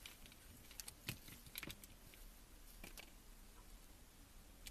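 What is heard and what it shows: A metal vegetable peeler shaves long curled ribbons off a solid green soap bar held in a gloved hand. Quiet, crisp scraping clicks with bright, short edges stand out against a low, steady background rumble, with a cluster of sharper scrapes early on and a few scattered later.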